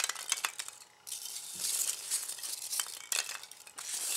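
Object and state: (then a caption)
Polystyrene foam packing peanuts. Both hands stir, grab and rub together a pile of white expanded polystyrene packing peanuts on a bamboo board. The result is a continuous bright, squeaky rustle with crisp crackling ticks, almost no low end, and a brief quiet pause near the one-second mark before the rubbing resumes.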